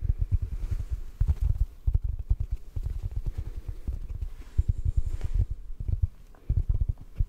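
A yellow porous sponge is tapped rapidly with fingertips, producing a quick series of soft, muffled, low thuds with almost no ring. The taps come in uneven bursts with brief quieter pauses between them.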